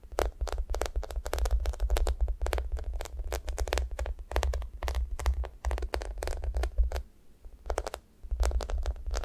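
Long nails scratch and tap the top of a thick foam squishy toast with a yellow top and brown crust sides, made of solid soft foam with a sticky coating. The result is a rapid run of short, crisp tapping and scratching sounds over a steady low rumble, with brief pauses between bursts.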